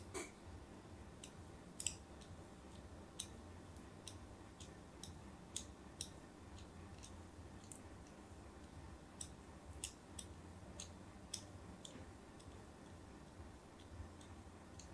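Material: Soap.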